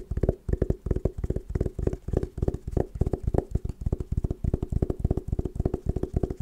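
Long nails tap and scratch the patterned woven fabric covering a hollow, oval hard sunglasses case. The result is a rapid, steady run of short, dull, low-pitched taps with a soft hollow thump. Each tap dies away almost instantly, with faint scratchy texture between them.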